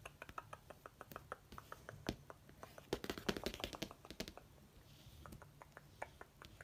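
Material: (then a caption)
Laminated cardboard. Fingertips and nails tap and trace along the glossy cover of a laminated cardboard hardcover notebook and near its edge. Quick, dry, short-ringing clicks come in an irregular stream, clustering more densely midway, with soft scratchy tracing between them. A faint low steady hum sits underneath.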